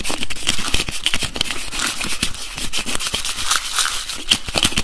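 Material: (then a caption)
Plastic. Fingertips and nails rapidly tap and twist the screw cap of a translucent blue plastic bottle holding liquid, producing a dense stream of sharp, bright clicks and scrapes. The short, dry taps come in quick succession with a faint high ringing tone between them.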